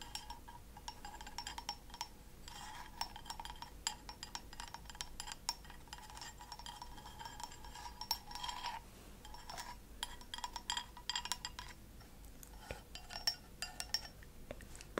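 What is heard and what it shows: Long acrylic fingernails tap rapidly and continuously on a small, hollow, empty white ceramic cup turned upside down on a saucer. Each tap is a short, bright clink with a faint ceramic ring that dies away almost at once. The taps come in dense runs with a few brief pauses.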